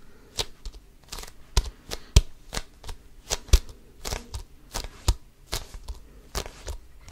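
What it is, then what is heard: Composite leather basketball. Fingertips scratch and grip an inflated, hollow basketball with a pebbled composite leather cover, held close to the mic. About 19 short, dry, scratchy bursts come at an uneven pace, each a bright rasp over a soft low thump that stops almost at once.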